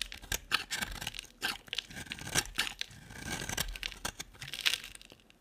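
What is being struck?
Bar of soap scraped with a blade.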